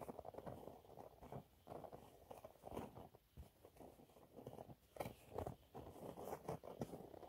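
Fingernails scratch a thin, flat, yellow textured cellulose sponge cloth, making quiet, dry, crackling scrapes. The scratches come in irregular bursts, centered in the low-mids with brief, sharp, crisp edges.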